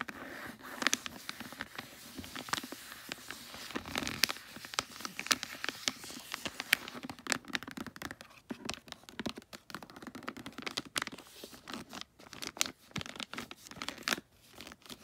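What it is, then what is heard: Foil wrapping paper on a gift. Long nails scratch and rub the shiny holographic tree-print foil wrapping paper on a gift. Bright, crisp crinkling and scraping fill the clip, broken by many sharp ticks and taps that stop instantly. The sound sits mostly in the high frequencies, with almost no low end.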